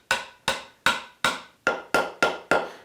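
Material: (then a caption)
Wood. A wooden tenon, the arm to the ram tang, is lightly tapped with a hammer into a chopped through mortise. Eight sharp, woody taps ring briefly, and the pitch of the taps changes as the tenon bottoms out. The result is a snug, fully seated, gap-free joint.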